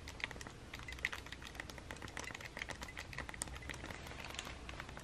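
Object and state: Plastic handheld game console.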